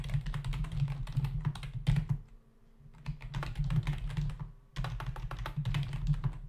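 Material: Plastic.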